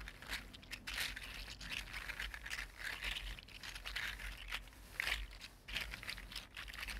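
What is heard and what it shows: A red-gold 3D printed plastic articulated slug resting on a table is wiggled side to side with the fingertips, its jointed plastic segments clicking against each other. The result is a quiet, continuous stream of dense, bright, crinkly clicks and rattles that swell and fade in short bursts across the clip.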